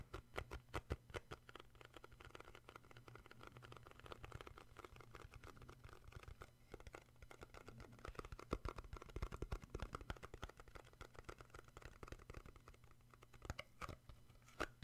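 A small hollow cardboard gift box with a printed skier paper lid is held in both hands while fingertips and short nails tap and grip the lid. Rapid, dry, hollow taps and scratchy gripping sounds fall in quick clusters, each dying away almost at once, over a steady low hum.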